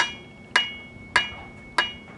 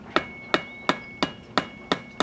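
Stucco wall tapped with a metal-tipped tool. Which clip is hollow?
The second.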